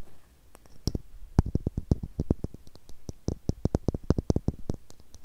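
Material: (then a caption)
Plastic. A small, hollow blue plastic screw cap is tapped with long nails, giving a rapid, irregular run of sharp clicks. Each click has a low thud and a bright tick and dies away almost instantly, with dozens of taps over a few seconds.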